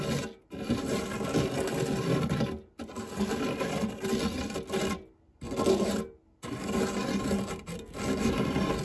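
The tip and edge of a silicone spatula scrape and rub the dark textured nonstick base of a shallow, round fluted metal tart tin that is empty apart from crumbs. The result is steady, gritty, mid-low scraping in long passes, broken by a few brief silent pauses.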